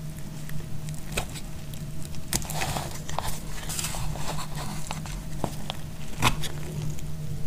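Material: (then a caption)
Soap. A solid piece of dried purple bar soap is held in the hand and sliced with a snap-off metal blade, shaving off thin crunchy curls. Soft, dry crackling and scraping continue throughout, punctuated by a few sharper, bright snaps, over a steady low hum.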